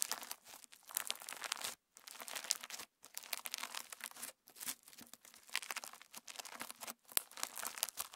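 Pink PVA slime with plastic star sequins is held in both hands, kneaded, folded and squeezed with the fingertips. It produces dense, bright, crunchy crackling and crinkling in bursts. The bursts are separated by brief silent pauses, with almost no low end.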